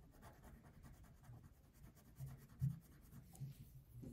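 A pink wax crayon held in the fingertips is rubbed across a thin printed paper coloring sheet lying flat on a wooden table. Soft, continuous scratching strokes stay quiet and low, with a few slightly louder strokes standing out near the end.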